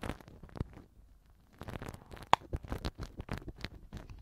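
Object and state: Silicone ear cover scratched with soft pick.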